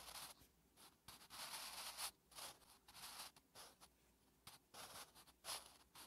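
A wooden graphite pencil held in the fingertips writes Korean letters on a thin lined notebook page resting on a flat surface. The graphite gives bright, dry scratching in short strokes and longer sweeping bursts, broken by brief pauses. Almost nothing sits in the low end.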